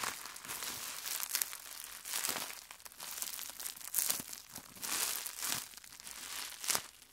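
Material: Plastic.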